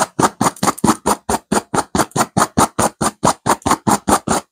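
A soft stuffed pillow with a purple velvet cover and a raised silver geometric diamond pattern is scratched vigorously by the long acrylic-tipped nails of both hands. About 20 quick, rhythmic rasping strokes follow one another, each a broadband scratchy burst with a bright hiss that fades fast.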